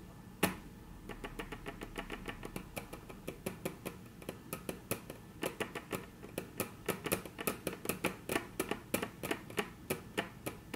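Very long natural nails tap on a flat, solid, dark brown wood-grain tabletop, making a steady series of sharp, dry clicks. Each tap dies away almost at once with a bright, crisp edge over a low woody knock. The taps grow louder and more pronounced toward the end.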